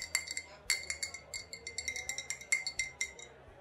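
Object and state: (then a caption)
Glass bottle. An old glass bottle with a faded sticker, holding either vodka or rubbing alcohol, is tapped and clinked in a quick, uneven run of light strikes. Each tap gives a bright glassy ping centered near 2.1 kHz with higher overtones, dying away almost at once.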